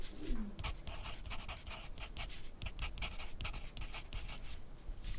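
A graphite pencil tip scratches across lined white paper held on a white plastic clipboard on a desk, with the other hand resting on the sheet. Quick, dry scratching strokes come in a steady run of bright, hissy bursts over a soft low background hum. A brief low gliding tone is heard near the start.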